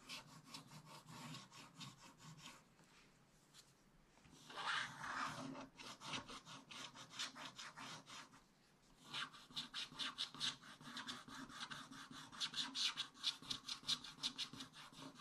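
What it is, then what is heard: Scratch-art paper being scratched with a stylus. A wooden stylus scratches strokes across the middle of a black-coated scratch-art paper page in a spiral book. Quick, dry, bright scratching strokes come in rapid bursts, with a softer rubbing passage and short pauses in between. The strokes are crisp with a thin, high hiss and no low rumble.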